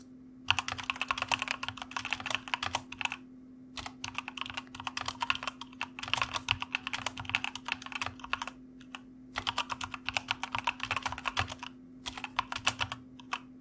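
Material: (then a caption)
Plastic. Fingertips of both hands type on a white mechanical computer keyboard with plastic keycaps, producing rapid, bright, sharp clicks in several bursts separated by short pauses. A steady low hum sits faintly beneath the typing throughout.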